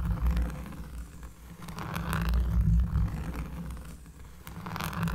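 A cork surface is scratched up close, giving a deep, bassy rasping that swells and fades in uneven strokes. The energy sits almost entirely in the low end, with faint bright scratchy flecks above it.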